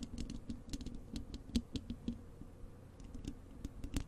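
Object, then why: Wire-mesh metal microphone grille. Long acrylic nails of both hands scratch and tap across the bare, hollow wire-mesh metal grille of a large desktop microphone. The result is a quick, irregular patter of short, crisp clicks and scrapes with bright tips. Underneath runs a low, steady resonant tone, and each contact dies away almost instantly.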